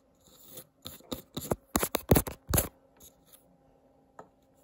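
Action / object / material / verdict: scrape / wooden candle lid / wood / none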